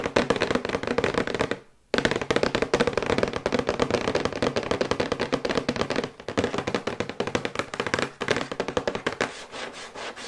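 Long white acrylic nails tap rapidly on a thin, glossy, printed cardboard box for a sonic toothbrush held upright. The result is a dense stream of quick, dry, hollow clicks with a papery midrange body that barely ring out. The tapping pauses briefly near the 2-second mark, then resumes, with slight dips in pace later on.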